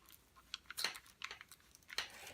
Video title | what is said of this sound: Logitech G430 Headset Unboxing | this is kind of flimsy to me it sounds plasticky